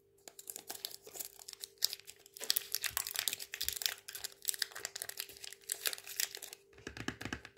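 Fingertips and nails tap the side and red cap of a small plastic bicarbonate of soda tub. Irregular, quick, bright clicks and crinkly scratches overlap with almost no low end, over a faint steady hum. A short pause near the end comes before the tapping resumes.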